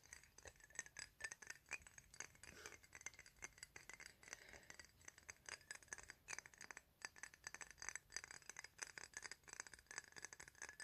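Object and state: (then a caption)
Glass perfume bottle. Fingertips and nails tap and scratch the sides of a square, thick-walled clear glass perfume bottle with a paper label, hollow and partly filled with liquid. Rapid, dense clicks and soft scrapes sound bright and glassy, with a tone near 1.8 kHz. Each hit dies away almost at once.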